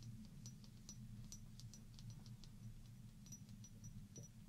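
A small hollow glass shot glass, partly filled with water and held up in one hand, is tapped and scratched with long painted fingernails. Quick, bright clicks and faint scrapes scatter irregularly over a steady low hum. The taps are soft and quiet and die away almost at once.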